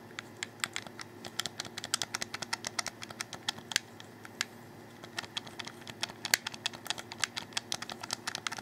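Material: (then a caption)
Plastic. A hollow black plastic Xbox 360 controller, held in the hands, has its face buttons clicked rapidly by fingers. Around fifty short, dry, bright plastic clicks land in quick, uneven bursts. Each snaps off instantly over a faint steady low hum.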